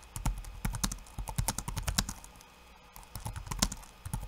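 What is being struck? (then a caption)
Laptop keyboard with plastic keycaps. One hand's fingertips type quickly on a backlit laptop keyboard with plastic keycaps, producing rapid, bright clicking taps over a low thump. The taps come in bursts, with a brief quiet pause in the middle before the typing resumes.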